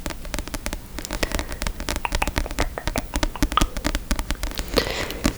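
A book is tapped quickly and repeatedly by something unseen, making dense, short, dry taps with a low thud and a light bright click. The taps come fast and overlap in an irregular stream with no voice, each dying out almost at once.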